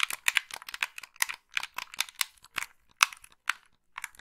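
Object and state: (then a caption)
Plastic game controller. Long pink nails tap and scratch over the buttons and hollow shell of a black plastic Xbox-style gamepad. The result is quick, dry, bright clicks and scratchy ticks in uneven bursts, with no low end.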